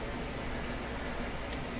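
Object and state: Nothing is struck.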